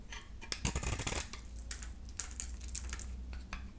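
A solid yellow bar of dry soap, held in the hand, is shaved into curls with a utility knife blade. Crisp, bright scraping and cutting strokes rasp across the bar in quick bursts, the densest cluster early on, over a steady low hum.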